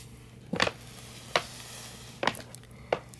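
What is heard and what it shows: Fingertips with short painted nails tap and scratch the sides of a hollow, medium-sized paper gift bag printed with a brown fur and bandolier (Chewbacca) design, standing upright on carpet. Brief, dry papery taps and scrapes come in a few separate bursts over a quiet background hum.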